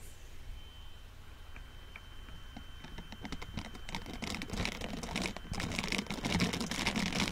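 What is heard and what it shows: A pair of blue-green silicone dish gloves with bristle pads, worn on both hands, has its bristled palms rubbed and pressed together close to the microphone. Soft, dense scratchy crackles and quick ticking bristle sounds build gradually louder and brighter over a steady low rumble. A faint thin whine fades out partway through.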